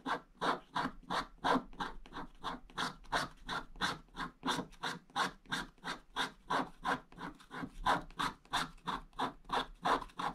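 A wooden stick scratches a flat, wax-coated scratch-art paper page, its black coating over blue foil, in quick vertical strokes. There are 35 short, rhythmic, dry scraping strokes at about three per second, each a bright, papery rasp with little low end and almost no ring.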